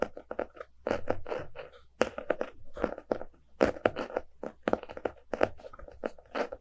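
A small, solid, closed hardcover book with a glossy cardboard cover is held in both hands while fingertips and nails tap and scratch its front cover. Quick, dry taps alternate with short, crackly scratching strokes, centred in the midrange with a little high hiss and almost no low end. Each sound stops dead with no ring, at a quiet, close level.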